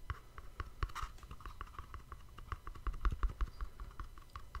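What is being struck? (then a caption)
Small cardboard gift box. A small, hollow, cream-colored cardboard gift box with a black-edged ribbon bow is held beside a microphone and tapped and scratched with fingertips and nails. The result is a quick, irregular patter of dull, low thuds, each with a crisp papery click and no ring. A brief scratchy rustle sounds near the start.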